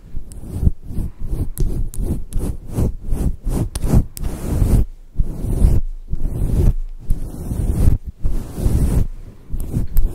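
Long acrylic nails scratch and rub a hand-sized, fluffy grey-white faux fur microphone windscreen over a soft foam core, using both hands. The result is a close, muffled, bass-heavy rumbling rustle in rapid repeated strokes, with short pauses between bursts.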